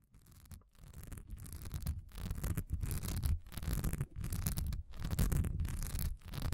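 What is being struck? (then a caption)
Textured wax pillar candle. A solid cream wax pillar candle with a diamond-honeycomb texture stands upright and is scratched fast with the long nails of both hands. It produces a dense, rough scratching with a heavy low rumble and a faint bright hiss, coming in uneven bursts broken by brief pauses and growing louder after the first second.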